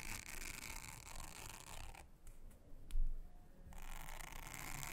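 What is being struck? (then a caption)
Silicone honeycomb trivet mat. A soft toothbrush is brushed across a thin, solid, round blue silicone honeycomb trivet mat, making a steady, bright, hissy scrubbing. The brushing stops for about a second and a half, leaving a quiet gap with a few faint clicks and a low thump, then resumes at the same even level.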